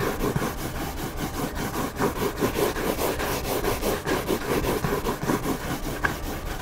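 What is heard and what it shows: Fingernails and fingertips scratch the white back cover of a hardcover book lying cover-up. The result is a steady, dry, rasping scratch made of quick, slightly uneven strokes, with a mid-range body and brief broadband streaks reaching up into bright hiss.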